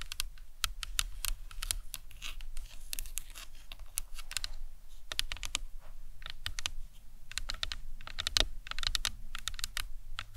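Long acrylic nails tap and scratch across the cranium and temples of a life-size hollow plastic anatomical skull model resting on a towel. Quick, dry, bright clicks come in irregular bursts, each dying away almost instantly, with soft scratching between them over a low, steady rumble.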